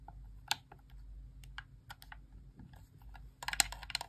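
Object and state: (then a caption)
Plastic game controller, buttons clicked. Long nails tap and click the face buttons of a white plastic Xbox core wireless controller held in hand, its hollow shell giving each press a light plastic snap. Quiet, scattered, bright clicks come early, then a quicker, louder burst of taps near the end, all over a faint low hum.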